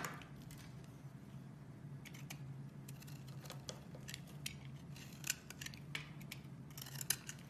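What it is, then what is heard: Bar soap being shaved with a blade. A metal blade shaves slices off a solid white bar of soap held in the hand, with a green soap bar sitting below that is not being cut. A series of short, bright, crisp scraping and cutting strokes sounds over a quiet, steady low hum. The strokes are soft and stop quickly with no ring.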